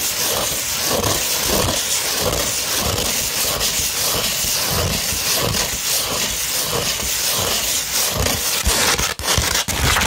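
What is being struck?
Sandpaper sheet.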